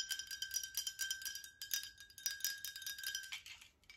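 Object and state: Glass water bottle.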